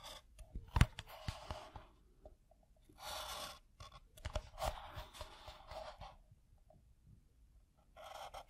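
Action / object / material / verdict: scrape / pebble-grain leather piece / leather / none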